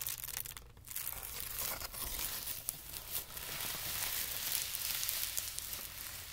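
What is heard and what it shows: A thin, wrinkled sheet of white tissue paper lying on carpet is gathered, folded and pressed by hand. It gives a steady, bright, papery crinkling and crumpling with a soft, low rumble underneath.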